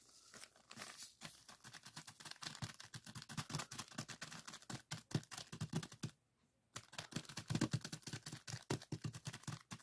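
Fingertips of both hands press, squeeze and scratch a small clear plastic zip-lock bag full of purple sand granules lying flat on a table. The result is a dense run of quick, crunchy crinkles and gritty scratches with a low thump under each press and a bright hiss on top. The sound stops briefly near the six-second mark, then resumes at the same busy pace.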